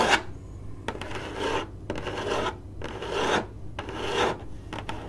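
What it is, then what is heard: Cardboard box being scratched. Long glittery acrylic nails of both hands scratch the lid of a hollow, printed corrugated cardboard box (Finders Seekers). The result is a series of dry, rasping scratch strokes with bright hiss, broken by short gaps and sharp clicks, over a faint steady low hum.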